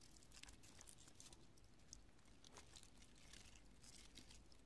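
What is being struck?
Pieces of cured polyurethane spray foam.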